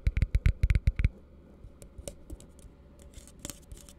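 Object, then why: Plastic cup. Fingertips tap and nails scratch the base and walls of an empty, hollow plastic cup held in the hand. A quick run of dull, low, hollow taps with a bright click on each opens the clip, then it falls to quiet, scattered scratches and faint ticks.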